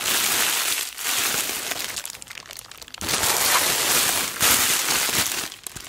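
A loose, clear plastic cellophane sheet is bunched and squeezed between fingers with long black nails, then released. It gives dense, bright crinkling that comes in waves, with almost no low end and brief dips between squeezes.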